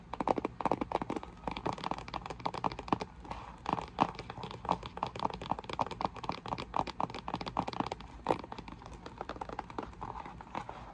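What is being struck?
Cardboard box.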